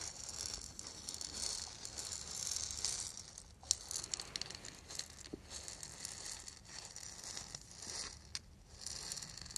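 A small, hollow wooden ball rattle, lacquered and painted, is held in both hands and shaken. The result is a steady, quiet, bright rattling and rustling with many quick, sharp clicks rising above it.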